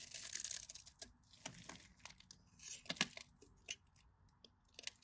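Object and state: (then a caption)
Bar of dry soap being cut. A metal craft knife blade cuts a grid into a solid, cream-colored bar of dry soap and shaves off cubes while fingers hold and rub the bar. Soft, bright scraping and crunching are broken by a series of sharp, crisp clicks and crackles that stop almost instantly, all at a quiet level.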